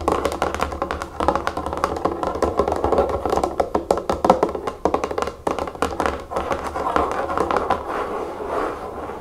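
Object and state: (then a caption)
Plastic bottle of liquid tapped with fingernails. Long nails tap rapidly with both hands on the sides of a large pink plastic nail polish remover bottle holding liquid and standing on a table. The steady stream of quick, dry clicks has a hollow, mid-pitched plastic tone and dies away almost instantly.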